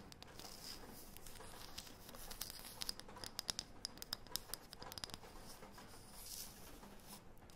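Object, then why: Thin round wooden disc. Long painted fingernails scratch and tap the face and edge of a thin, round, light, solid wooden disc. Soft, bright scratching runs throughout, with a cluster of sharp, dry taps in the middle that die away instantly. The sound is quiet, with a high crisp edge.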